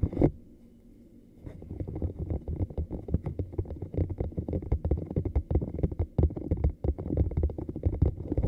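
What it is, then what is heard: Silicone cup. A small, hollow, blue camo-pattern cup that looks like silicone is held in both hands away from the face and tapped and scratched with the fingernails. After one sharp tap and a short quiet pause, a dense run of quick, dull, low-pitched thuds and soft scratching follows, with almost no bright ring and each tap dying away instantly.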